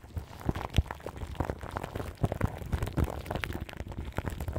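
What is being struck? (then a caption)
Microphone grille wrapped in plastic film. Long nails and fingertips scratch the crinkly plastic film wrapped around the grille of a large microphone. The result is a dense, continuous crackle of quick, dry crinkles, with soft low thumps under the scratching and little high brightness.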